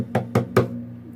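Three quick knocks on the thick, hollow wooden body of an acoustic bass guitar give short, dull, woody thumps with a low resonant tone around 120 Hz. Each knock fades quickly, leaving a faint low hum between and after them.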